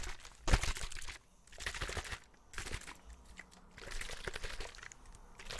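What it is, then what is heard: Plastic water bottle. A clear, hollow plastic drinking bottle with some liquid inside is held up and shaken while fingertips tap and squeeze it. This makes bursts of crinkly, crunching plastic with a sharp, loud crack near the start. The bursts come in uneven clusters separated by brief quiet gaps.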